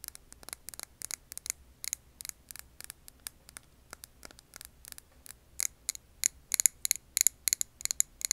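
Long nails tap a clear glass jar filled with green wax candle, making quick, irregular, sharp clicks that are bright and high with almost no low end. Each tap dies away instantly, and the tapping grows louder and denser toward the end.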